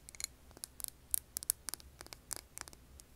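Long nails tap and scratch a medium glass candle jar that is filled with solid green wax and wrapped with a label. About fourteen quiet, bright, clicky taps land irregularly over three seconds, with faint scratching between them. Each tap is sharp and high-pitched and dies away almost instantly.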